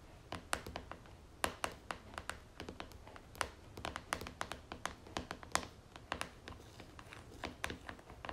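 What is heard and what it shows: Long fingernails tap and scratch the top and sides of the red screw lid on a medium, likely full plastic jar of pomegranate moisturizing cream standing on a marble-pattern surface. The result is a quiet, irregular stream of sharp, dry clicks that reach high into the bright range and die away almost instantly, with soft scratchy rustling between them.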